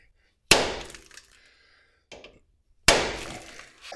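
A driver strikes a cold steel Axle Saver bearing in the axle tube of a Blazer rear axle twice to make sure it is seated, with a fainter knock between the blows. Each strike is a sharp, bright metallic crack with a brief ring. The bearing is fully seated.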